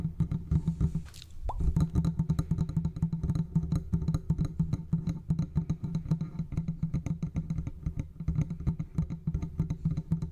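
A large silver condenser microphone with a hollow metal body is gripped and tapped with the fingertips of both hands along its sides. Rapid, dense, muffled thumps dominate the low end, each dying almost instantly with no ringing. Near the start, a brief bright scrape and a short lull come before the steady tapping.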